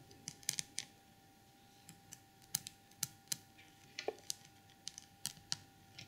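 Long purple nails tap and scratch the textured, ornately painted red and gold lid of a small porcelain elephant trinket box set with jewels and a crystal knob. About eighteen sharp, bright clicks ring out separately with almost no ring, over a quiet background with a faint steady tone.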